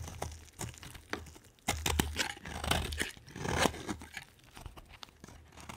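A utility knife blade shaves a solid green, hand-sized bar of soap into flakes. Irregular crisp scraping and crackling bursts with bright, papery texture ride over a soft low rumble, the louder strokes swelling and fading in quick succession.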